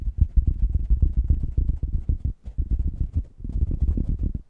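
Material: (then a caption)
Foam. Fingertips of both hands rub and scratch across a large, soft, porous black foam or knit microphone cover (beanie) fitted over an oval mic head, with a second covered mic sitting below. The result is a dense, muffled rumble of deep thumping scrapes in quick, irregular succession, almost entirely low-pitched with no bright edge. Brief quiet dips occur around 2.4 seconds and 3.3 seconds, and again at the end.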